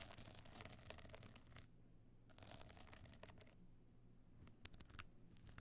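Long nails scratch across the small glued stone chips covering a closed, rigid box clutch lying flat. Dense bursts of bright, gritty scratching come in two spells separated by a quiet pause with a low steady hum. A few sharp, isolated scrapes follow near the end.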